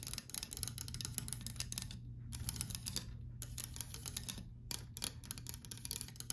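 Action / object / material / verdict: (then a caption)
tap / painted wooden louvered door / wood / none. Fingernails tap and run quickly across the slat edges of a white painted louvered closet door, making dense, dry, bright clicks and rattles with brief pauses between bursts. A steady low hum sits underneath.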